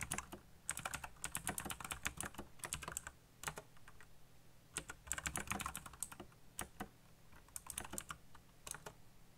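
Fingertips tap the keys of a backlit black plastic mechanical keyboard in fast, uneven bursts of sharp, bright clicks with very short decay. A low steady hum sits underneath. Brief pauses separate the typing runs.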